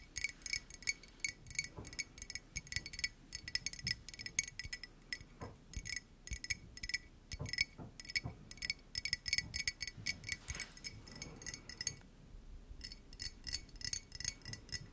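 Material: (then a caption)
Ceramic. Long nails tap rapidly on the outer surface of a hollow, yellow printed ceramic mug, making dozens of quick, bright clicks with a high, glassy ring that dies away almost at once. The tapping runs in fast clusters, with a brief near-silent pause around the twelfth second before it resumes.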